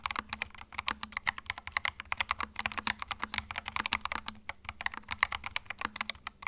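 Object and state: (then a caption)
Plastic mechanical keyboard being typed on. Fingertips type quickly on a small white 65% mechanical keyboard with plastic keycaps and a hollow plastic case, resting on a felt mat. A steady run of dozens of sharp, bright plastic clacks centers around 2 kHz, and each one stops dry and short. A faint low hum sits underneath.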